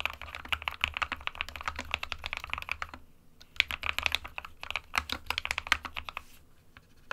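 Fingertips of both hands type continuously on a small SK61 60% white plastic-cased mechanical keyboard with plastic keycaps resting on a desk mat. Rapid, bright clacks with a sharp click around 2.4 kHz over a faint low hum, with a brief pause near the middle before typing resumes.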